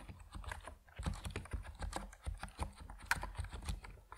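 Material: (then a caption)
Plastic. Fingertips of both hands type on an Epomaker NiZ Plum Atom 68, a 68-key compact mechanical keyboard with white and purple PBT plastic keycaps resting on a wooden desk. A steady run of short, deep, muted clacks is heard, each dying away almost instantly, with a few brighter ticks mixed in.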